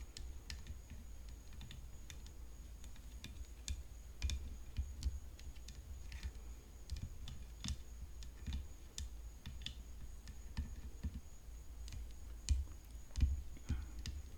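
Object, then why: Tennis racket frame. Long fingernails tap the frame of a tennis racket, making a quick run of light, sharp clicks that vary in strength and decay fast. A steady low hum and a faint, thin high tone sit underneath the tapping throughout.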